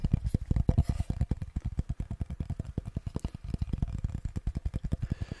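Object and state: Wooden cutting board.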